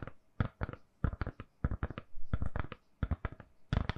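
A smartphone in a lilac soft silicone case, held in both hands, is tapped with long nails. Quick clusters of short, dull, low taps land in uneven bursts, each dying away almost instantly with no ring.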